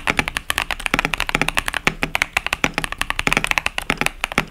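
A 65% KBD67 Lite mechanical keyboard with a polycarbonate plate, foam-dampened case, pastel cherry-profile plastic keycaps and tactile switches sits on a desk mat and is typed on continuously with the fingertips of both hands. About 32 quick, short, bright keystrokes clack and tap in a fast, uneven stream, with a crisp upper-mid click around 2.4 kHz and little low-end thump.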